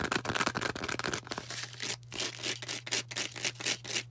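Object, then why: Porous foam sponge. A hand-sized, star-shaped green porous foam sponge is tapped and scratched with long orange acrylic nails. Quick, dry, bright scratchy taps come about four times a second in an uneven rhythm, over a faint steady low hum.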